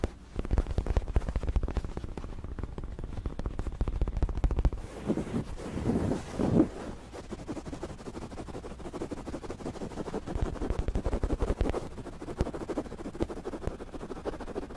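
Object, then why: Fabric throw pillow with pom-pom trim. Fingertips scratch and rub a medium, soft white fabric throw pillow with printed lettering and pom-pom fringe, held close to the microphone. Dense, rapid scratching comes through as a heavy, low, muffled crackle. Around the middle it eases into slower rubbing swells before the fast scratching returns.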